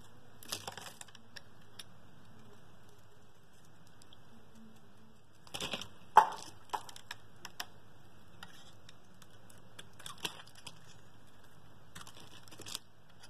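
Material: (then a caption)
Soap. A metal blade slices and scrapes pieces off the edge of a partly carved, solid blue bar of soap held in the hand, producing short, crisp cutting clicks and scratchy scrapes in scattered bursts over a faint steady low hum. The sharpest crack lands around the middle of the clip, and the shavings pile up on the table.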